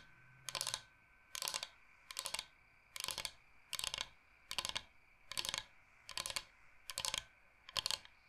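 Fingernails tap fast on a large, flat, solid bamboo cutting board shaped like Michigan. Ten short bursts of quick, crisp, bright clicking come at a steady pace, with quiet gaps between them. Each tap is dry and dies away instantly, with almost no low end.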